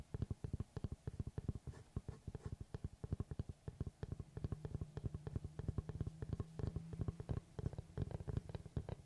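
Fingertips and short nails tap the cut face of a large, round, solid wooden tree-slice board held upright. About sixty quick, dull taps come in an uneven, rapid patter, each a short low knock that dies almost at once. A faint low hum runs underneath through the middle of the clip.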